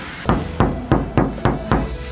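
Six sharp knocks on the bare, undamped steel body panel of a classic Daihatsu Taft GT before sound damping is installed. Each knock rings with a low, hollow resonance around 125 Hz over a faint background hum. The panel sounds very noisy.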